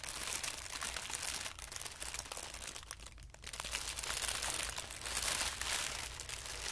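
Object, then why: Thin tissue paper sheet. A thin white tissue paper sheet is gathered up and crumpled by both hands on carpet. It makes a dense, bright, continuous crinkling over a faint low hum, easing briefly around the three-second mark before building back up and peaking just after five seconds.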